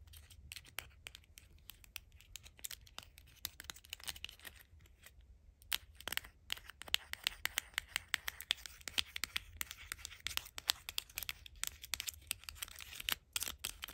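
Long acrylic nails tap and scratch a tiny white Dove-branded cardboard bar-soap box, a small and likely hollow Mini Brands toy held in the hand. Rapid, crisp clicks and dry scratching come through bright and thin, with almost no low end. There is a brief lull around five seconds before the tapping resumes more sharply.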